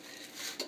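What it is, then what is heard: Crisp, fully dried baked kale chips. Baked kale chips are stirred and shifted on a baking pan, giving a dry, bright rattling crackle that builds and ends in one sharper clatter. The crisp sound shows the chips are fully dried and crispy.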